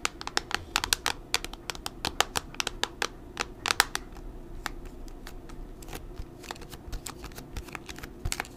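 Long nails tap across the white plastic back cover of a thin, hollow Kocaso tablet. About thirty quick, irregular clicks sound bright and dry, each dying out almost instantly with a light hollow plastic tick.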